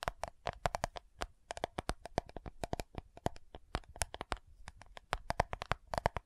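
Long nails quickly tap and scratch the lid of a round, dark purple plastic loose powder compact jar. The result is a rapid string of dry, clicky taps with a hollow tone around 700 Hz, each dying away almost instantly, with faint scratching between them.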